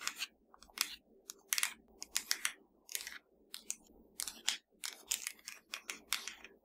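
Long nails tap and scratch a slim, hollow black plastic Fire TV remote held in one hand. The result is an irregular series of crisp, bright clicks and short scratchy bursts that stop dead with no ring, all quiet and thin with almost nothing low.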